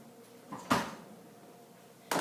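A freshly baked king cake of yeast dough, just out of the oven and nicely browned, is thumped twice, giving short, dull, hollow knocks. The hollow sound shows the cake is baked through and ready.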